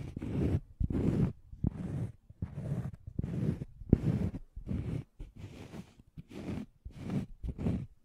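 Fingernails scratch across a thin, solid, round cork coaster held beside the microphone. Eleven separate scratching strokes come at an uneven pace, each a dry, rough, low-weighted rasp that stops quickly, with brief quiet gaps between them.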